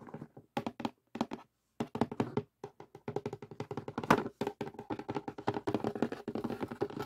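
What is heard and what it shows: Fingertips tap the lid of a closed cardboard jigsaw puzzle box with the pieces inside, and the box is briefly moved. The result is a steady run of soft, dull, short thunks with quick dry decay and a few brief pauses between bursts.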